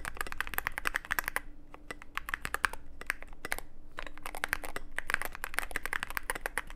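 A Cyberboard mechanical keyboard with plastic keycaps and a dark case is typed on continuously with the fingertips of both hands. It produces rapid, dense bursts of sharp, bright clicks, with brief lulls near 1.5 and 3.7 seconds. A faint low steady hum runs underneath.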